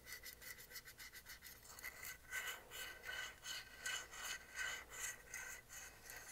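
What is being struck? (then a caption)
Small painted wooden block sign. A small rectangular solid wooden block sign with painted lettering and a paw print is held in the hands and scratched and rubbed across its surface with the fingernails. The result is a steady run of dry, bright scraping strokes, roughly two or three per second, with a faint tonal edge around 1.5 kHz and a quick fade after each stroke.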